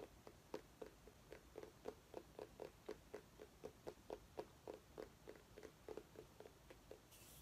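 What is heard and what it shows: A small orange mini pumpkin is turned in the hands and scratched with long nails. The result is a quiet, fairly steady run of short, dry clicks and scrapes, about three to four per second, centered in the low mids with brief bright edges. Each sound dies almost instantly, and a soft bright hiss rises at the very end.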